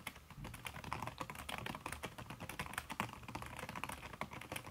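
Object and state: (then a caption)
Silicone-covered laptop keyboard being typed on. Fingertips and long red nails type fast on a backlit aluminium laptop keyboard fitted with a red silicone key cover. The result is a dense, steady stream of soft, muffled taps with short, dry clicks and no lingering ring.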